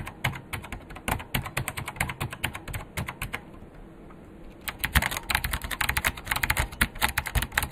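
Two hands type with their fingertips on a vintage beige KPT-102 full-size plastic keyboard with Alps switches and a hollow case. It makes rapid, uneven clacky key taps with sharp bright clicks and a hollow low thump. The typing pauses briefly near the middle, then resumes faster and louder.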